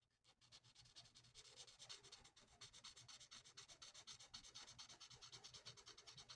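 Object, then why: Felt-tip marker on a paper sheet. A thin, flat sheet of printed paper on a table is coloured in with the felt nib of a plastic alcohol marker, using rapid back-and-forth strokes. The result is a steady run of soft, dry, scratchy rubbing, bright and hissy with a quick rhythmic pulse and almost no low end.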